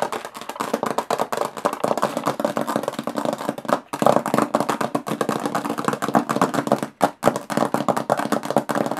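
Long fingernails tap rapidly on the textured metal lid of a small, hollow aluminum briefcase. The result is a dense, continuous patter of short, clicky taps with a hollow midrange ring that dies away quickly. The tapping briefly stops just before the 4-second mark and again around 7 seconds.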